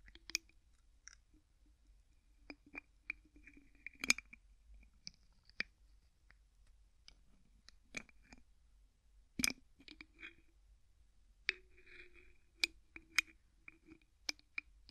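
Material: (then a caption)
Plastic. Fingertips twist the white plastic screw cap on an empty clear plastic bottle, producing about sixteen short, dry clicks spread unevenly over the quiet clip. The clicks are bright and tick-like, centred near 2.4 kHz, with a faint lower body and almost no ring after each one.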